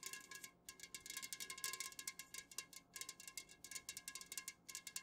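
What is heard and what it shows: A tall, unopened Jumex guava nectar metal can, full of nectar and standing upright on a fuzzy pink cloth, is tapped and scratched quickly with long natural fingernails of both hands. The result is a rapid stream of bright, crisp metallic ticks and scratches with a faint, short tinny ring around 1.7 kHz, soft overall and with almost no low end.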